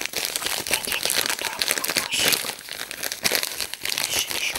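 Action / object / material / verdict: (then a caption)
scrape / aluminium foil wrapping / aluminium foil / none. A small bundle of crinkled silver aluminium foil, apparently wrapped around a small Soviet glass Christmas ornament, is crinkled and unwrapped by fingers held in the hands. The result is a dense, continuous run of bright, crisp crackling and crumpling with almost no low end, rising and falling in loudness.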